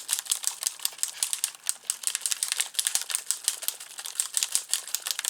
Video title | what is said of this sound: Carte box fév 16 | Vous écoutez la petite bille hein, qui secoue bien les paillettes.